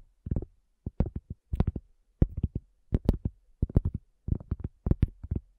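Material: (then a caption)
Cork. Long fingernails and fingertips tap on a round, flat, solid cork coaster in quick clustered bursts. Each tap is a soft, dull knock weighted low, dying away almost at once between short pauses.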